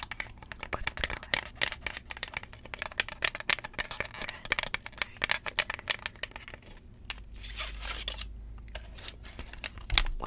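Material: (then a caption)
Vinyl. A thin, solid 7-inch vinyl record held in both hands is tapped and scratched with long jeweled acrylic nails. Rapid, bright clicking taps fill the first part, then give way to a steadier scratching hiss. A sharper tap lands near the end.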